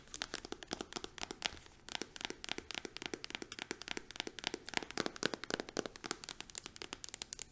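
A green-capped, patterned plastic hand cream tube is held upright and tapped quickly with long acrylic nails. The result is a fast, steady stream of sharp, dry clicks with a bright, crinkly edge and almost no low end. Each tap dies away instantly.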